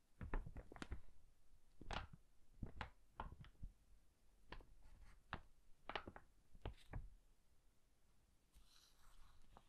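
Fingertips flip, riffle and rub the thin yellowed paper pages of an old hardcover book with a red cloth cover, held open in front of the mic. The result is a quiet run of short, soft page flutters and dull thumps, each with a brief bright papery rustle. A faint, airy rub trails off at the end.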